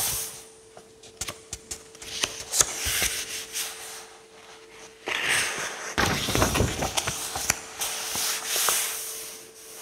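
Fingertips and palms rub and slide across the thin paper pages of an open paperback book with a solid bound block, lying on a tablecloth-covered table. Soft, bright papery rustling is dotted with short, sharp ticks at first, then swells into louder, denser sliding friction in the second half, over a faint steady hum.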